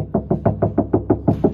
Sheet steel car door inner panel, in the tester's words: at the moment, it's extremely tinny